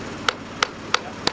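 A hammer taps four times on a concrete bridge deck overlay at a spot the injected epoxy has not yet reached. Each tap is a short, bright knock with a high ringing tone, and the spot sounds hollow, marking how far the epoxy has spread beneath the deck.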